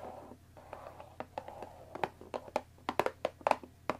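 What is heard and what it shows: Long dark nails tap the top edge of a closed Earl Grey tea box of thin printed cardboard, about 20 cm long and likely full of tea bags, resting on a wooden table. A soft, papery scratching rustle in the first two seconds gives way to about fourteen crisp, dry taps that grow louder toward the end. Each tap has a hollow midrange knock and stops almost at once with no ring.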